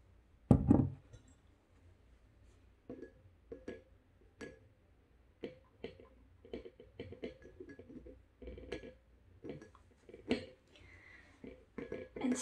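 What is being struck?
Embossed silver metal goblet.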